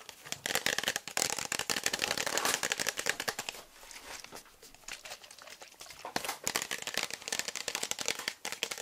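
A hand-sized, hollow, translucent frosted plastic bottle with a teal pump cap, apparently empty or nearly empty, is held in the hands and tapped and scratched with fingertips and nails. The result is a dense stream of quick, crisp, bright taps and scratchy crinkling with almost no low end, easing into a softer stretch midway before picking up again.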